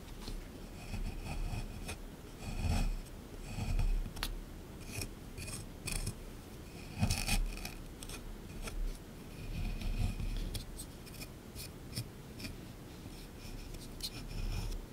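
A small chisel repeatedly scrapes a solid plaster block sitting in a tray from a dinosaur excavation kit, producing a dry, rasping scratch. Quiet, steady scraping builds into louder gritty bursts with bright, sharp ticks throughout.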